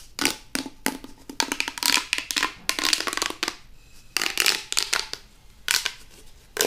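A hollow pink corrugated plastic pop tube toy is compressed by hand, then pulled and stretched out, making its ridges pop and crackle. Bright, dry crackling comes in rapid clusters of sharp clicks and snaps separated by short quiet gaps, with almost no low end and no lingering ring.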